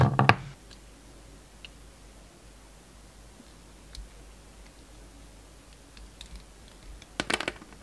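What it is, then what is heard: Bar of soap being sliced. A yellow utility knife blade slices the surface off a solid rectangular bar of soap held in the hand, the bar having an orange shell and a black-and-white striped interior. A loud, crisp scraping cut opens the clip and fades within half a second, followed by a long quiet stretch with faint scattered clicks. A second bright, crackling cut comes near the end.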